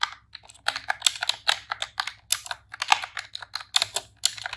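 Long press-on nails and fingertips type rapid key presses on a pink retro-style plastic computer keyboard with round keycaps. The result is a fast run of short, bright plastic clicks and clacks that die away almost instantly, with irregular bursts and brief pauses between them.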